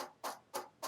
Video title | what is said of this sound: Alienware m17 R3 Review - Dell Finally Gets Cooling Right | this is magnesium alloy you can hear it sounds like metal